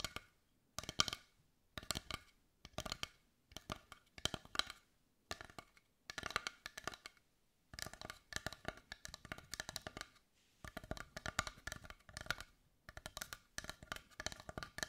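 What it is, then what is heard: Carved wooden heart. A large carved dark brown wooden heart is held close while long white nails tap and scratch its surface. Bursts of quick, dry, bright clicks come in short clusters separated by brief pauses, with little low end and almost no ring.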